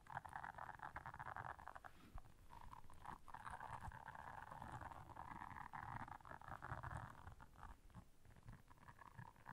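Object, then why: Silicone bristle scrubber pad. Long nails scratch across the bristles of a blue silicone bristle scrubber pad, producing a steady, dense rasping texture centered in the midrange around 800 Hz. The scratching continues with only brief pauses, over a soft low rumble.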